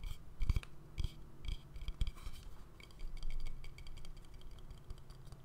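An empty, hollow, medium-sized wooden bowl, held tilted in one hand, is tapped and scratched with fingernails on the inside and rim. Soft, dry taps and scratchy strokes come in clusters, with a low, hollow thud under bright, crisp clicks. Each sound stops almost at once.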